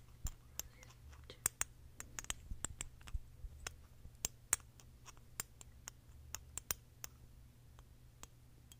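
A small glass perfume bottle, mostly full of red liquid and topped with a metal or plastic cap, is held in the hands and tapped and clicked with fingernails on its neck and cap. About nineteen sharp, bright clicks land at an uneven pace and die away almost instantly. A steady low hum runs underneath throughout.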